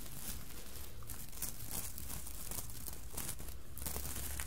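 Long nails scratch and fingertips rub over the sequins of a red sequined Santa hat with a soft fabric body and a white plush pompom and brim. The result is a steady, crinkly scratching with bright rustling bursts over a low, constant hum.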